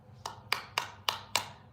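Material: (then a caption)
Metal. A heavy metal American Express credit card is tapped five times, each tap giving a sharp, bright metallic clink with a ringing tone near 980 Hz that fades quickly. The ring marks it as a metal card rather than a regular one.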